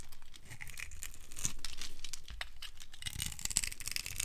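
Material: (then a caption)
Glycerin soap. A metal blade scrapes across a dry, solid, translucent amber glycerin soap bar scored in a grid, breaking off small crunchy cubes. The result is a continuous run of quick, irregular crackling and crunching scrapes with a bright, dry texture.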